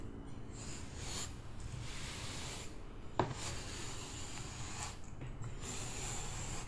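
Purple kinetic sand in a shallow white plastic tray is stirred, scooped and scraped with a hand-held metal spoon. Soft, grainy rubbing and rasping sweeps fill the clip over a low rumble, with one brief sharp tick of the spoon near the middle.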